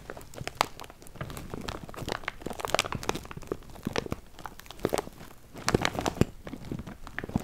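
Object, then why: Plastic bag holding cardboard jigsaw pieces. A large clear plastic bag full of cardboard jigsaw pieces is crinkled and squeezed by hand close to the mic. It makes a dense, continuous crinkling and crackling with sharp, bright crunches and loud spikes along the way. The pieces give a soft rustle and shuffle underneath.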